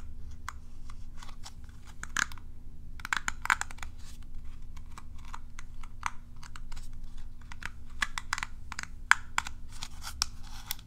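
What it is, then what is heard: Plastic cat self-groomer brush. Long nails strum and scratch across the dense field of plastic bristles on a curved plastic cat self-groomer brush held in hand. The result is a quick, irregular run of dry, crisp ticks and flicks with bright, brittle edges, each dying away almost instantly. A steady low hum sits underneath throughout.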